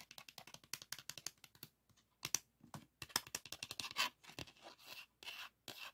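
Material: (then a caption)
Hard plastic. Fingernails scratch and tap the textured plastic and edges of a pink 3.5-inch floppy disk, a hard plastic shell with a metal hub, held in the hands. A quick, irregular series of dry, bright clicks and short scrapes comes with almost no low end and no ring, broken by brief silences and a few longer rasping strokes.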